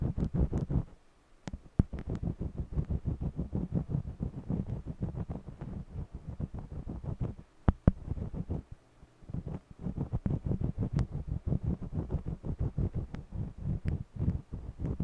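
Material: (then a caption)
Cotton canvas. A green jumbo wax crayon rubs back and forth along the lower area of a small stretched cotton canvas panel in a scratchy coloring motion. The rapid, dense strokes sound mostly low and thumpy, with brief pauses around the first second and near the nine-second mark.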